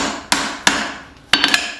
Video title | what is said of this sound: Forge welding a tomahawk | this sounds solid and it feels solid and it looks like it's cooling down all together